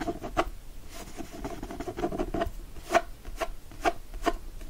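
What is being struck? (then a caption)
Cloth-covered hardcover book. A closed, solid hardcover book with a teal cloth cover and gold foil floral design lies flat on a fleece blanket, held with one hand while short nails and fingertips scratch across the cover. Soft, dry rubbing and scratching runs throughout, broken by a few sharper scrapes that carry a faint hollow mid-pitched tone.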